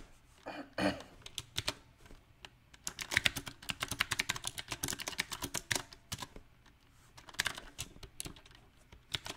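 Fingertips tap keys on a mechanical keyboard with round plastic typewriter-style keycaps on a silver metal frame. Sharp, bright clicks come in uneven bursts, densest through the middle, with quiet gaps between. Each click stops almost at once.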